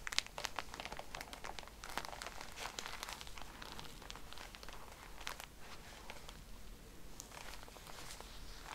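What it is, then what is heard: Plastic-wrapped pack of cotton pads. Long nails tap and scratch the plastic wrapper of a pack of cotton pads, giving a quiet stream of crinkly, bright ticks and scrapes over a low steady hum. The many short, dry clicks run closely together with no ring after each.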